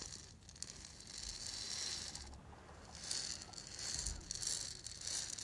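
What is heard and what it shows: A small hollow lacquered, painted wooden ball rattle is shaken and rubbed with the fingers close by. The sound is a soft, bright, continuous rattle and rustle, mostly high-frequency and swelling and fading over the clip.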